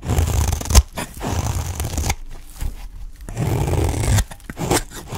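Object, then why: Olive-oil soap bar cut with a knife. A utility knife cuts and scrapes shavings off the side of a dry, solid green olive-oil soap bar held in the hand. The result is dry, crunchy scraping and tearing in low-heavy bursts with a sharp snap near the start and brief quiet gaps between strokes.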